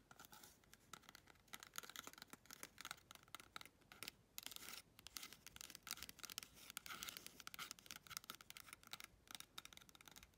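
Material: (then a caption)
Cardboard. Long red chrome nails rapidly scratch and tap the rim and outer wall of a small, hollow, empty brown cardboard toilet paper tube. The result is a dense, dry, bright rasping and clicking with quick, uneven bursts and almost no ring or low end.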